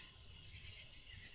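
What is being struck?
Nothing is struck.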